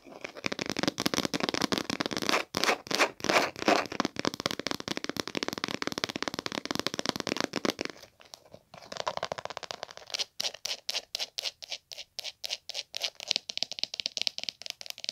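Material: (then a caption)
Leather. Long pink-painted nails scratch and tap along a small, hollow, dark green textured leather hard glasses case resting on a woven bag. Dense, bright, crackly scratching fills the first eight seconds, then after a brief pause it returns as rapid, more separated taps and scratches with a dry, hollow knock.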